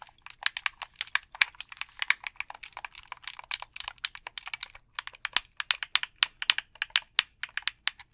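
A hollow white plastic gamepad is held in both hands while fingertips tap and click its buttons and shell. About 48 quick, dry, bright clicks come in an uneven, typing-like patter, each snapping off instantly with no low-end body.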